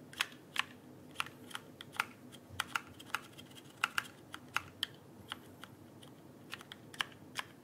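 A backlit plastic mechanical keyboard, held vertically, is tapped on its plastic keycaps with fingertips. About 24 short, sharp clicks at an irregular typing pace, each bright and snappy and dying away almost instantly. A faint steady hiss sits underneath.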